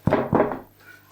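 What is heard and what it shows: A freshly baked sourdough loaf, just out of the oven, is turned over and tapped three times on its bottom crust, giving short, dull, hollow-sounding thuds. The hollow sound shows the loaf is baked through and done.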